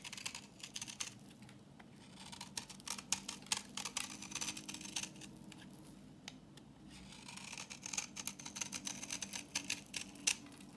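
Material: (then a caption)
Soap. A utility knife blade scrapes a solid, translucent reddish-brown bar of dry vintage soap held in the hand, shaving off orange curls. The scraping makes a dense run of short, dry, bright crackling ticks and scratches, centred around 2.7 kHz and lasting about 11 seconds. There is almost no low end and the ticks do not ring.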